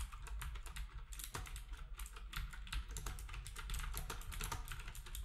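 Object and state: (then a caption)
Plastic typewriter-style keyboard being typed on. Fingertips of both hands type rapidly on a black wireless typewriter-style keyboard with round plastic keycaps and a hollow housing. A dense run of short, sharp clicky taps comes over a steady low rumble, each tap dying away almost at once.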